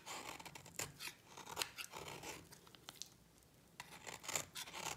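A solid pink dry bar of soap held in the hand is scraped with a utility knife blade into shavings. Bright, crisp scraping strokes come in quick bursts, with a quieter pause in the middle, all dry and close with no ring.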